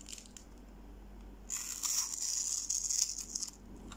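A small metal knife blade cuts cubes from the grid-scored face of a solid, hand-sized, pale yellow bar of dry soap held in one hand, over a pile of soap shavings. After a quiet, faint scratching start, a bright, crisp crackling and scraping rises about halfway through, then fades back to soft scratches at the end.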